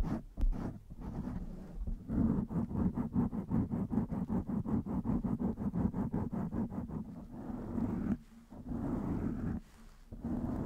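Long nails scratch the top of a blue foam microphone windscreen while another hand holds its side. The result is a muffled, low-heavy stream of rapid, rhythmic scratching strokes with little high end. The strokes pause briefly twice near the end.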